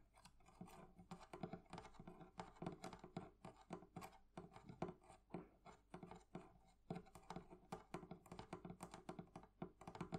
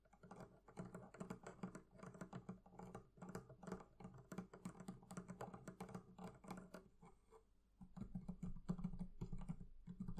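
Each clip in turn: First: metal fittings on a wooden barrel chest. Second: leather covering on a barrel chest.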